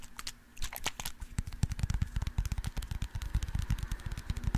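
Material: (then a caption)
Plastic. Fingernails rapidly tap and scratch a small white plastic eye drop bottle with a label that contains liquid. After a brief quiet start, a dense run of short, dull, low thuds mixes with bright, crisp scratching clicks, each tap stopping almost instantly.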